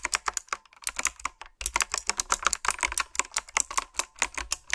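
Fingertips and long nails type on a typewriter-style, retro mechanical keyboard with round, backlit plastic keycaps. A rapid run of sharp, bright clicks and clacks comes with almost no low end and only a brief pause near the middle. Each keystroke dies away almost instantly.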